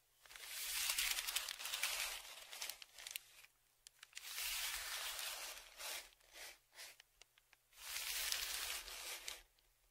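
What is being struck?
Kraft paper padded shipping envelope.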